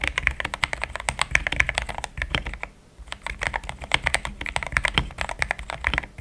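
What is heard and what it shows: Fingertips type in steady taps on a pink-framed compact mechanical keyboard with thick cream XDA plastic keycaps, linear switches, a polycarbonate plate and a hollow case. Rapid, short, crisp keystrokes with a bright clack centered around 2 kHz over a soft low thud pause briefly near the middle, then resume at the same pace.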